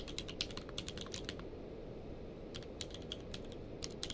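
A full-size mechanical keyboard with a blue-grey case and white and grey plastic keycaps lies on a blanket while both hands type rapidly with their fingertips. Quick, bright plastic key clicks come in bursts over a steady low rumble, with a short pause near the middle before the typing picks up again.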